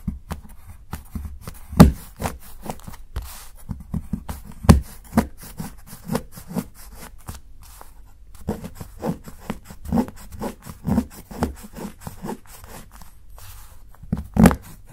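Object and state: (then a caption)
Dark chocolate bar being shaved with a knife. A solid dark chocolate bar, held flat by fingertips, has curls shaved off its edge with a steel kitchen knife beside a mound of shavings. Soft, low scraping strokes repeat irregularly, with occasional sharper knocks of the blade.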